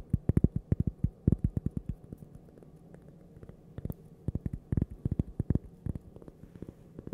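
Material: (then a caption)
Cork. A small, flat, solid cork coaster shaped like a slice of toast is held in the hand while its face and edge are tapped and scratched with long purple nails. Quick bursts of dull, low, soft taps that stop dead come in rapid clusters, with a quieter stretch of faint scratching in the middle before the tapping picks up again.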